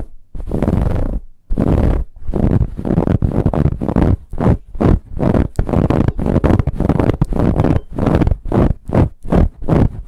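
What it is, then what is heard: Ribbed fabric pillow being scratched. A large, soft, stuffed dark brown pillow with a ribbed, textured fabric cover is scratched quickly with the long nails of both hands. The result is a rapid series of rough, muffled scratching bursts separated by brief pauses, heavy in low rumbling tones with little high-end brightness.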